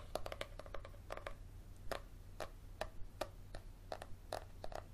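Fingernails tap and scratch along the cover and page-block edges of a thick yellow paperback held sideways. The result is a quiet, irregular run of short, dry clicks with a mid-pitched tone around 600 Hz and bright scratchy edges, over a steady low hum.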